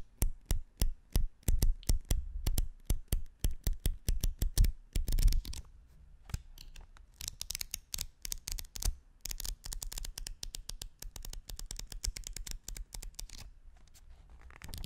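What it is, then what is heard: Folded paper sheets. A small bundle of thin folded white paper sheets is held in both hands close to the microphone while the fingers riffle and flap them, rubbing the sheets against each other. Sharp, papery flaps come in quick succession over a deep low thump. They are loud and spaced at first, then turn into a softer, denser run of rustling flicks.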